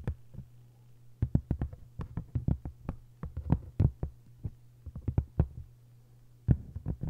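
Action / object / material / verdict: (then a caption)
tap / paper-covered hardcover book / paper, board / none. Long white nails tap and scratch the textured paper cover of an open hardcover book lying face-down. The result is a quiet, irregular run of short, dry clicks with brief scratchy bursts, over a steady low hum.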